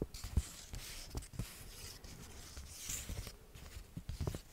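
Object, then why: Paper banknote. A small, thin, flat paper banknote resembling a dollar bill is held close in front of a microphone while both hands fold, crinkle and rub it with their fingertips. Soft, bright paper rustles and crackles come in short bursts with quick low thumps, over a quiet background.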